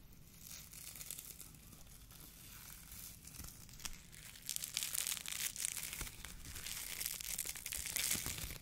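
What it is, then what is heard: Foam fruit protection net being crinkled. A hollow white polyethylene foam fruit protection net, a mesh sleeve, is squeezed and crinkled with the fingers of both hands close to the microphone. It makes a dense, bright crackling and crinkling with rapid irregular pops over a faint low hum. The crackling grows louder and busier in the second half.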